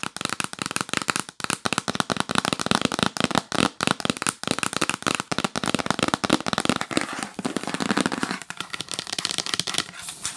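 A yellow printed cardboard gift box is tapped fast with long acrylic nails, first while held and then while lying flat. It makes a rapid, continuous stream of sharp, dry, bright clicks that stop almost instantly. Near the end the taps grow slightly softer and thinner.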